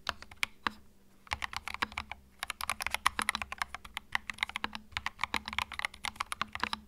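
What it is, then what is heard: Mechanical keyboard with plastic keycaps. Fingertips type continuously on a compact white mechanical keyboard with plastic keycaps, producing rapid, sharp, bright clacks with no ring after each key. The typing runs in quick bursts with brief pauses early on, over a faint steady low hum.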